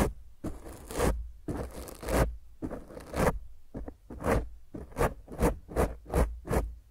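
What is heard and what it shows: Fingernails of both hands scratch roughly across a black foam microphone windscreen, making coarse, rustling scrapes with a heavy low rumble and bright hiss. Three long, drawn-out strokes are followed by a run of shorter, quicker scratches separated by brief pauses.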